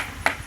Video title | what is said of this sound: Time for me to get busy repairing the painting this concrete porch. | that's a hollow spot that's likely going to crack one day and break open